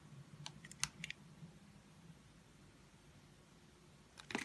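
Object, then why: Translucent glycerin soap bar scraped by a knife blade. A utility knife blade scrapes and shaves the surface of a solid, translucent orange soap disk shaped like a citrus slice, held in the palm. A few short, bright, crisp scraping ticks come in the first second, followed by a quiet stretch with a faint low hum, then a louder burst of shaving at the end.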